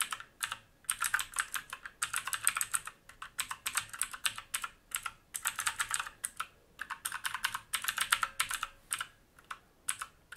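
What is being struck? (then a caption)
Mechanical keyboard with plastic keycaps and metal top plate. Fingertips of both hands type quickly on a full-size black mechanical keyboard with plastic keycaps and a metal top plate, resting on a wooden desk. Dense bursts of crisp, bright, clacking keystrokes are broken by brief pauses. Each tap is short and dry with almost no low end.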